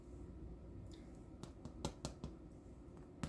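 Homemade Thanksgiving dinner rolls, just out of the oven, are tapped several times, giving short, dull, hollow-ish taps with very little ring over a low background hum. The hollow sound shows the rolls are done baking.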